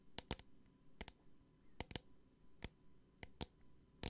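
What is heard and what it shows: A small clear plastic hand sanitizer bottle with a green cap and liquid inside is held in the hand and tapped with long painted nails. Eleven sharp, dry clicking taps come in uneven groups. Each is bright and broadband and dies away almost instantly over a quiet background.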